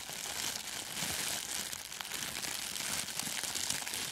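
A thin sheet of clear plastic cellophane gift wrap is stretched and crinkled by the fingers, then draped over a furry microphone windscreen. A continuous, dense crumpling and crinkling texture fills the clip at a steady level, mostly bright and high with very little low end, with short sharp crackles scattered throughout.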